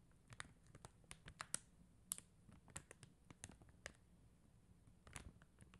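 Long teal acrylic nails tap rapidly on a flat acrylic rhinestone sticker sheet of clear and blue faceted plastic gems on white paper backing. The result is a quiet, irregular run of short, sharp clicks with a bright, crinkly edge and no ring after each tap.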